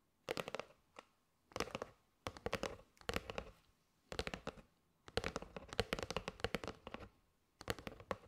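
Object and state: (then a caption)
Cardboard box of paper straws. Quick taps of long nails on the front and edges of a flat rectangular kraft cardboard box, held in both hands, with a clear plastic window showing that it appears full of teal and gold paper straws. Rapid, crisp, dry clicks come in short bursts separated by brief pauses, with a hollow papery midrange and bright edges that die away almost instantly.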